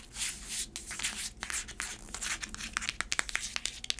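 Long acrylic nails scratch the braided black straps of a black braided faux-leather heeled sandal held up close. A bright, dry scratching and rustling builds into a run of sharp, quick clicks toward the end.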